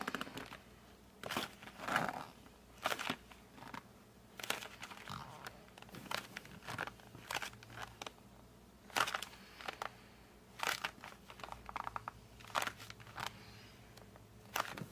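Fingers and thumbs grip and squeeze the edges and flap of a flat cardboard colored pencil box, seen from the back. Irregular bursts of dry crinkling, crunching and squeaky creaks come through, each fading quickly into a quiet background.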